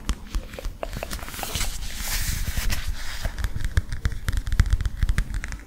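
A flat illustrated cardboard picture book with a palm tree picture is held upright in both hands and tapped and scratched with fingertips and nails. Soft, low, dull taps land in a quick, uneven stream, mixed with dry crackly scratching that brightens into a hissy swell midway through.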